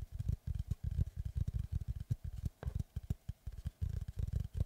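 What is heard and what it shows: Rapid fingertip and nail tapping with both hands on the flat face of a large, solid-wood oval slice of tree trunk with its bark edge, held upright. The result is quick bursts of dull, low, woody thuds with almost no ring, separated by brief pauses, and occasional slightly brighter clicks from the nails.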